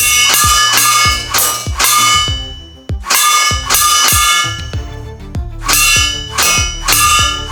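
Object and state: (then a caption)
Stainless steel bowl ringing when struck. Water-based soft gel pellets from an F4 Superior are fired repeatedly at the bottom of a stainless steel bowl. Each hit produces a loud, shrill, high-pitched metallic clang that rings briefly before the next strike.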